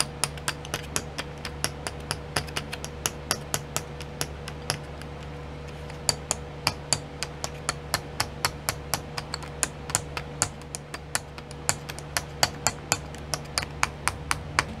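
Long nails tap and scratch the lids of twelve small clear plastic pots filled with sequins, sitting in a pink tray. Dozens of sharp, bright, dry clicks follow one another in a quick, uneven rhythm, each dying away almost instantly. A faint steady hum runs underneath.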